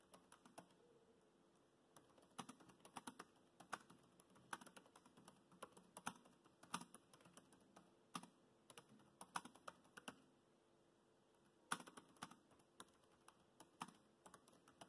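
Fingertips type on the black plastic chiclet keys of a dark grey laptop, making quiet, crisp clicks and taps. The typing comes in irregular bursts separated by short pauses. Each tap dies away almost instantly against a faint steady background hiss.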